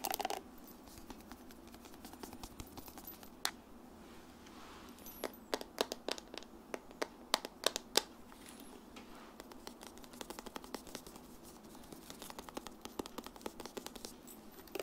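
Long nails tap and scratch the smooth, flat back of a large blue solid plastic paddle hairbrush held with the back facing up. Quiet, scattered sharp clicks and brief scratchy strokes cluster in bursts, with a bright, crisp edge and almost no low end, and each tap dies away instantly.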